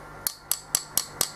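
A stone composite blank made of crushed-stone compound is tapped five times with metal, giving sharp, bright, high-pitched clicks that die away almost instantly. Its hard, stony sound is very different from an acrylic blank.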